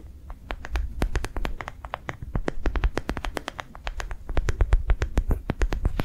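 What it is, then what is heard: Rubber sensory ball tapped with nails. Long nails tap quickly across the ridges of a hand-sized, yellow-green, ridged soft rubber sensory ball, likely hollow, held in one hand. The result is a steady, rapid stream of short, crisp, bright clicks that die away almost instantly over a faint low rumble, growing a little louder toward the end.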